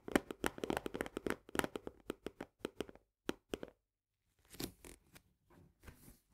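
Both hands tap long nails quickly on the top edge and green plastic lid of an Orzo Bimbo barley canister, a medium paperboard tube. Sharp, dry, hollow clicks come in a rapid run, then a brief silence. Softer, scratchier brushing taps follow.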